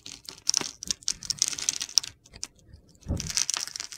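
A utility knife blade scrapes and slices the surface of a solid blue and pale blue bar of soap held in the hand. Dense, bright, crisp scraping crackles come in quick bursts, then a short lull. A soft low thud follows, and the scraping resumes.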